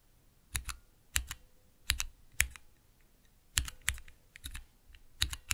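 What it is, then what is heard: Plastic mechanical keyboard switch tester. Fingertips press and tap the clear plastic keycaps of a small 3x3 switch tester, with Cherry MX switches in a clear plastic base resting on dark velvet. Sharp, bright plastic clicks come in quick pairs and small clusters, each with a low thump and almost no ring, separated by brief quiet gaps.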